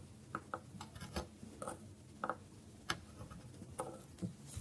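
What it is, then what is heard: Dry bar soap. A metal knife slices into the grooved face of a solid bar of dry soap held on a wooden board. A string of short, dry, crisp cuts and light scrapes rings out with almost no decay, each bright snick cutting through a quiet, low background hush.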